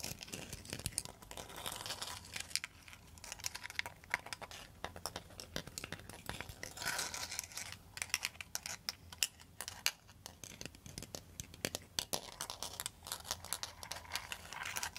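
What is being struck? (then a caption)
Bundle of bamboo tubes tapped and scratched with metal nail tips. A bamboo pan flute, a bundle of hollow bamboo tubes bound together, is tapped and scratched with long metal nail tips. The result is a dense, steady stream of quick, dry clicks and bright scratchy rasps, with each tap dying away almost instantly.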